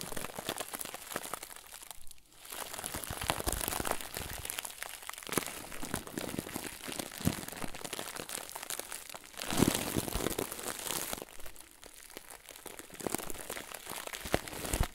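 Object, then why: Plastic bag filled with stuffing. Fingertips press and crinkle a round white plastic bag filled with stuffing. The result is a continuous run of dense, dry crinkling with many small crackles spread across bright high frequencies. The sound briefly quiets near two seconds and swells louder around ten seconds.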